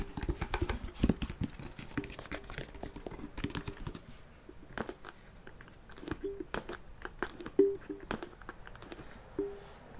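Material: Wood, faux leather.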